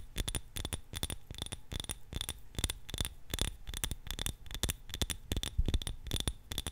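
Long nails tap quickly on the sides and rim of a small glass candle jar filled with purple wax, its wick visible, held in both hands. Each tap gives a sharp, bright glassy click with a very short ring over a soft low thump, repeating in a fast, steady patter.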